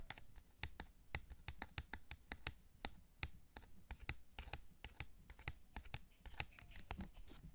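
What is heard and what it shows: Fingertips repeatedly tap the face buttons and top shell of a white PS5 DualSense, a hand-sized, hollow, white plastic game controller. About 32 quick, dry plastic clicks and taps sound in an irregular rhythm, each with a bright snap and a soft low thump. Every tap dies away almost instantly, leaving a faint background between hits.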